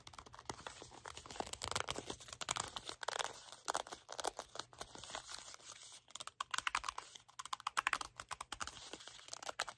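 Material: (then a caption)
Cardboard. Fingertips and nails tap, scratch and grip the faces of a small, hollow, red printed cardboard product box. The result is a dense run of quick, dry clicks and taps mixed with papery, crinkly scratching bursts. The sound is bright and light, with almost no low end and no ring after each touch.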